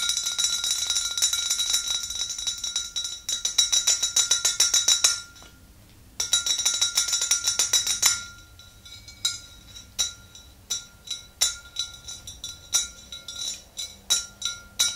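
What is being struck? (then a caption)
Glass swing-top bottle. Long nails tap the neck of a tall glass swing-top bottle full of yellow liquid, making bright, high clinks with a short ring. Fast, dense runs of tapping break off for about a second, resume, then slow into separate, evenly spaced taps.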